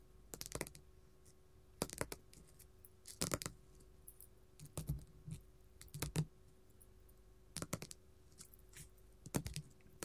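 A flat pink glitter faux leather sheet lying on a table is tapped and scratched with gold metal filigree finger claws. Quick clusters of dry, bright clicking taps and short scratchy strokes come in bursts separated by quiet gaps, each dying away almost instantly. A faint steady hum sits underneath.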